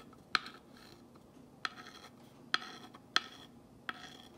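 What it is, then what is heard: Painted wooden sign traced with a glass rod. A glass rod tip is dragged along the white letters of a black-painted wooden box sign, tracing them. Quiet, soft scratching runs throughout, broken by five sharp, bright ticks that fade almost instantly.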